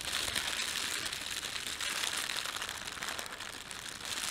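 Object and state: Plastic bread bag crinkling.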